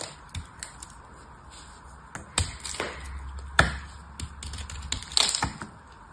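A hand-sized solid bar of dried soap with a silver paint coating is held in one hand and cut and scraped with a small metal blade, with pieces breaking off the edge. Sharp, crisp clicks and snaps ring out irregularly over a faint hiss, with brief gritty scraping between them and a low rumble through the middle. Each crack is bright and dies away almost instantly.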